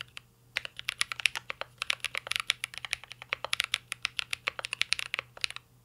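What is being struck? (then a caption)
Mechanical keyboard with plastic keycaps and metal case. Fingertips type continuously on a mint-green Cyberboard R3 mechanical keyboard with plastic keycaps and an aluminum case. About forty short, sharp, bright key clacks come in a quick, uneven rhythm, each dying away almost instantly.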